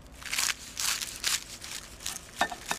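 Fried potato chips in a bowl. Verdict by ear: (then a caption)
Crispy. Triple-cooked potato chips, seasoned after a third fry at 190 °C, are rolled around in a bowl, giving bursts of dry, crisp crunching and crackling that is mostly high-pitched. The chips are crispy and perfectly done.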